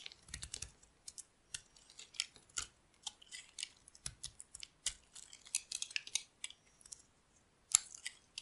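A solid beige bar of dry soap, held in the palm, is scraped and carved with a metal utility blade while flakes fall off. Quiet, bright, crisp scraping strokes come in short, dry bursts with almost no low end, separated by brief pauses, with one sharper cut near the end.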